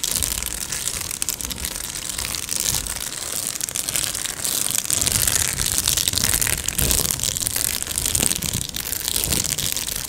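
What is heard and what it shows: A medium-size, hollow Amazon Prime padded plastic mailer is held close to the mic and scratched and tapped with long nails. It gives a steady, bright crinkling and scratching texture, with soft, dull taps coming through underneath.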